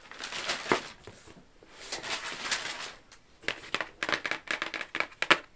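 Long acrylic nails scratch and tap across the lid of a medium, flat, rigid black cardboard gift box with a Versace logo, hollow and closed. The first half is made of soft, bright, crinkly scraping swells, followed by a quick run of sharp, dry taps that die away almost at once. The sound is thin and papery, with almost no low end.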